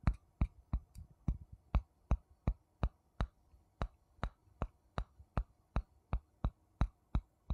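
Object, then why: Wooden spoon on wooden bowl. A wooden spoon taps on a wooden bowl 21 times at a steady, slightly uneven pace of nearly three taps per second. Each tap is a short, dry, low knock with a bright click on top that dies away almost instantly, heard quietly.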